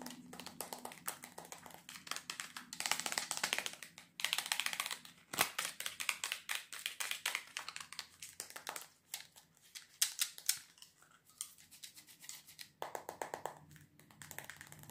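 A small, hollow white plastic double box is held up and tapped quickly with fingernails. Rapid, bright, clicky taps come in dense bursts and short pauses, each tap dying away almost at once, with little low end.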